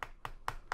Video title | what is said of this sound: Nexus 5, déballage et prise en main - par Test-Mobile.fr | sonne pas creux pas trop creux ça va